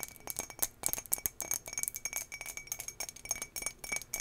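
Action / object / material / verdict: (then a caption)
tap / embossed glass drinking tumbler / glass / none. Long nails and fingertips tap rapidly on an empty, hollow turquoise embossed glass tumbler held in the hand. The result is a quick, uneven string of bright, high clinks that die away almost instantly, with a faint steady tone near 2 kHz and almost no low end.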